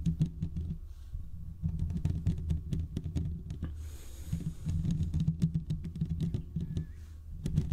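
Fingertips and short nails on both hands scratch the hollow domed steel mesh grille of a large desktop condenser microphone. The result is a dense, boomy low rumble of scraping, broken up by many quick, sharp ticks and a brief brighter hiss midway through.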